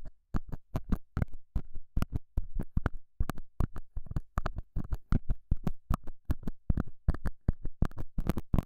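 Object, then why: Felt pad over a close microphone. A straight, pointed metal scaler tip scratches and pokes the surface of a small, solid, square beige felt pad mounted over a small lavalier mic. The result is a rapid, uneven stream of short, dull, heavily bass-weighted thumps and scrapes that stop dead with almost no ring.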